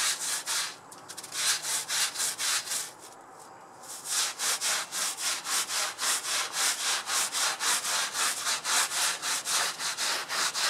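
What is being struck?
Synthetic fiber rug scrubbed with a plastic-bristle brush.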